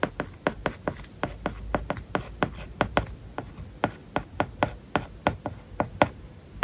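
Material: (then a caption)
Glass, plastic film. A plastic stylus tip writes by hand in quick strokes on an iPad glass screen covered with a matte, paper-like plastic film. About 26 short, dry taps and scratches come in a rapid, uneven rhythm, each with a mid-pitched papery body and almost no ring. A faint steady hiss sits underneath.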